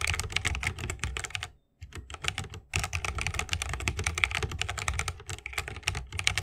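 Fingertips of both hands type continuously on a 60% mechanical keyboard with plastic keycaps and Holy Panda tactile switches, set in a bamboo wooden case. Rapid, bright, dry clacks layer over a deep thock, with a brief pause just before the two-second mark before the typing resumes steadily.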